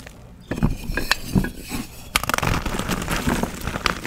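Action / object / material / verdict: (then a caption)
scrape / pressed gym chalk block / chalk / none. Pressed white gym chalk rings of magnesium carbonate, solid and crumbly, are squeezed and crumbled between bare fingertips and palms over a bed of loose chalk powder, with other chalk rings nearby. Dry, brittle cracks and crunches burst out in quick clusters over a low, gritty rustle of crumbling chalk. Each snap cuts off almost at once.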